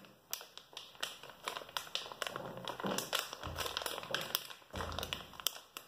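A hand-sized soft plastic-film pouch of baby wet wipes, filled with wipes and topped with a rigid green plastic flip lid, is held in both hands and tapped and scratched with short fingernails on the lid and the crinkly film. A rapid series of sharp, dry taps and clicks mixes with bright crinkling and scratching, with almost no ring after each hit. Occasional duller, lower handling rustles sit underneath.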